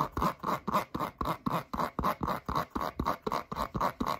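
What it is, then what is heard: Foam rubber clog scratched with nails. Long acrylic nails scratch quickly along the holed upper and sole of a turquoise foam rubber Croc clog held up close. Sixteen short, fairly regular rasping strokes follow one another at a brisk pace, each with a rubbery scuff centered near 1 kHz and a soft low thump underneath.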